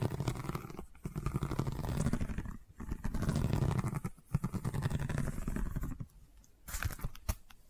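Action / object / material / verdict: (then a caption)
scrape / woven seagrass tube / seagrass / none. Long nails scratch across a long cylindrical woven seagrass tube covered in a woven straw weave. The result is a dense, low, crackly rasping in several sustained passes separated by brief pauses, ending in softer, sparser scratches.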